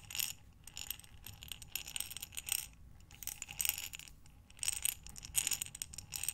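A glass mason jar with a metal lid, filled with small buttons, is rotated and tipped by hands with long nails. The buttons rattle and clatter against the glass in bright, crisp bursts, mostly high in pitch with little low end.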